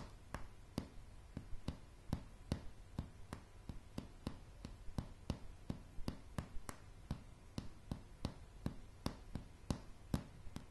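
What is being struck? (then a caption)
Pine floorboards tapped with fingernails. Long polished nails tap slowly on solid light pine floorboards, about 28 short, sharp clicks evenly spaced over roughly eleven seconds. Each tap dies away almost at once over a quiet, low background hum.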